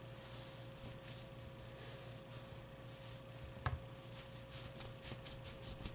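A hand rubs across the top of a medium, soft stuffed avocado plushie, making quiet, airy fabric brushing strokes over a steady low hum and a faint constant tone. One brief, sharper bump stands out partway through before the soft rubbing continues.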